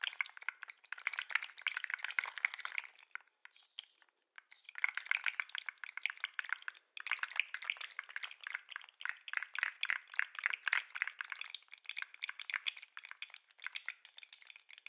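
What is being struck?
Segmented plastic lobster toy.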